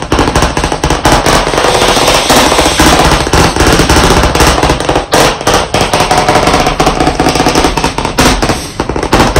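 Very fast, continuous tapping with white chalk sticks held in both hands on a medium, solid, flat black chalkboard panel in a wooden frame. The dense, crisp clicks blur into a rattling barrage with a woody knock around 220 Hz and short rings that die almost at once.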